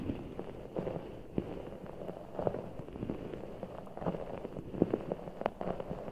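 Fingertips squeeze a large, full, soft ball of blue water gel beads in a clear rubber skin, held over the microphone. The sound is a steady run of soft, muffled squishes and small crackling pops, sitting in the low and middle range with almost no bright top. A few sharper clicks stand out over the constant squelching.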